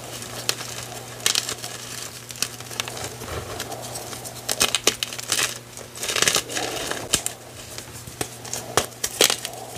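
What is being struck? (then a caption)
Block of gym chalk (magnesium carbonate). A pile of crumbled white gym chalk (magnesium carbonate) chunks and powder, solid and dry, is pinched and crushed between fingers and thumbs. Close, dry crunches and crumbly crackles come in a steady run of sharp, bright snaps over a faint low hum, each crunch stopping almost at once.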